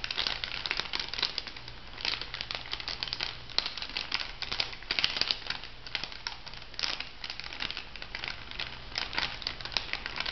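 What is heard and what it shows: An orange plastic foil cosmetic sachet, held upright, is crinkled by fingertips and long nails. Dense, bright crinkling crackles run steadily throughout, with a faint low hum underneath.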